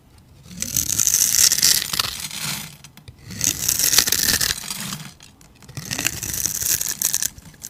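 A metal utility blade scrapes and carves the grid-scored surface of a solid, palm-sized grey bar soap held in the hand, shaving off small cubes and flakes. Three long, bright, crackly scraping passes rise and fade, with brief pauses between them.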